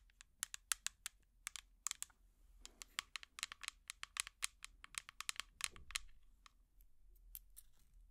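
A small, hollow, empty clear plastic jar with an orange plastic lid is tapped with long metal finger picks in a rapid, irregular series of about thirty sharp, bright clicks. Each tap dies almost instantly, and a few brief, softer scratchy passages fall between the taps.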